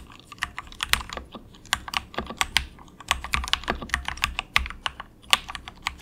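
Fingertips of both hands type softly on a cheap, compact 68-key plastic mechanical keyboard with a hollow case resting on a desk mat. About 25 quick, bright clacks come in an uneven rhythm, each dying away almost at once, with a faint low thud under some strokes.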